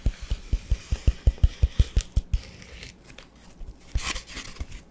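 Fingertips rub and scratch a large, solid, rectangular black porous foam sponge block held in one hand. A steady run of about a dozen deep, soft thumps comes first, followed by quieter, irregular scratching with brief bright hiss.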